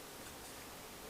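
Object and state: Nothing is struck.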